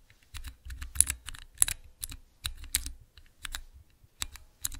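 Fingertips type on a small transparent plastic 9-key mechanical keypad. The keys give sharp, bright clicks with very short decay over a low thock, arriving in irregular bursts with brief pauses between them.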